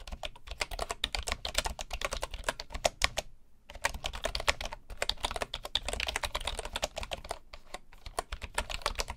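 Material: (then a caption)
Bamboo wood. Fingertips of both hands type rapidly on a full-size bamboo wood computer keyboard with wooden keycaps resting on a table. The result is a dense stream of short, dry, bright key taps with a hollow low thump beneath, briefly pausing just past the three-second mark before resuming.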